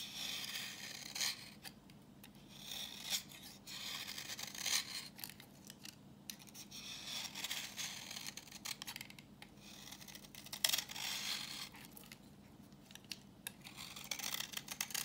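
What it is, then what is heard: Dry soap bar shaved with a blade. A solid, brown, translucent bar of dry vintage soap is held in the hand and shaved with a utility knife blade, with crumbly shavings falling off. The sound is a series of quiet, irregular, bright scraping and rasping strokes with a dry, gritty texture.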